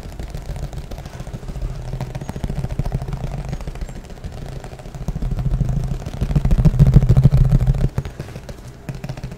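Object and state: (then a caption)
Plastic frisbee. A thin green plastic flying disc, hollow underneath, is held in front of the microphone and tapped quickly with the fingertips. It makes a dense, fairly steady stream of short, dull, low thumps centred around 137 Hz with almost no bright content. The tapping grows louder from about the middle of the clip, peaks near the end, then suddenly drops back to a softer patter.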